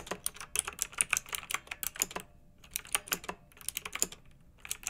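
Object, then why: Plastic mechanical keyboard with round metal-rimmed keycaps. Fingertips type on a pink backlit, typewriter-style plastic mechanical keyboard with round metal-rimmed keycaps. It produces a quick run of bright, crisp clicks with almost no low end and no ring, and the clicking pauses briefly near the middle before it resumes.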